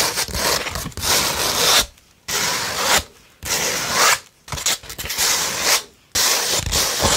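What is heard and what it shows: A beige 100-grit sandpaper sheet is scratched and rubbed with long red nails and the fingertips. Five bursts of bright, gritty scraping are each separated by brief silences. The hiss is dense and coarse, with little low end.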